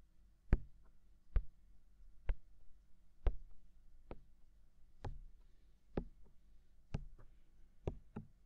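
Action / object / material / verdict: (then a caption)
tap / silicone ear of a binaural microphone / silicone / none. Fingertips tap the white, hollow, mounted silicone ear of a binaural microphone about ten times at an unhurried, uneven pace. Each tap is a soft, dull, low knock that dies away almost instantly, with faint lighter touches between some of them over a quiet background.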